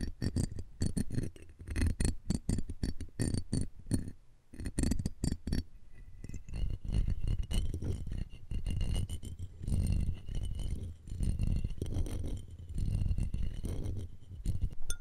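A thin metal ear-pick loop scratches and scrapes the hollow round steel mesh grille on the head of a binaural microphone, with no earrings attached. The result is a dense run of close, dry scratching and clicking, heavy in low rumble. Faint bright metallic ringing tones shimmer above it, with a couple of brief quiet pauses.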